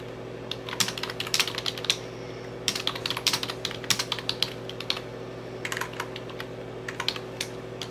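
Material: Plastic.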